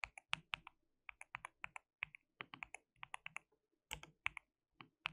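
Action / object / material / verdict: tap / plastic mechanical keyboard / plastic / none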